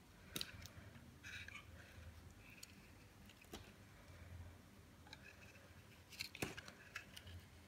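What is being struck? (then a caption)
Bar of soap cut with a metal blade. A metal blade shaves and cuts slices from a solid cream Imperial Leather bar of dry soap held in the hand. Soft, bright scraping rasps are broken by sharp, crisp cracks near the start, in the middle and toward the end. Each crack stops almost at once over a faint low hum.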